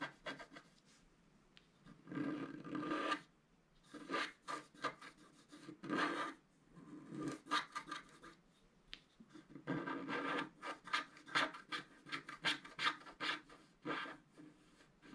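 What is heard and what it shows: A thin wooden stylus scratches the black coating of a flat, thin, A4-sized scratch-art card held down by one hand. The clip is a series of short dry rasping scrapes in bursts, bright and papery with almost no low end, separated by brief quiet pauses.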